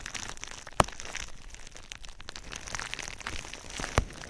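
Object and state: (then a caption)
Plastic bubble wrap. Fingertips and nails tap and scratch clear plastic bubble wrap wrapped around a binaural microphone. A steady soft crinkling and scratching runs throughout, with two sharp loud pops standing out near the start and the end.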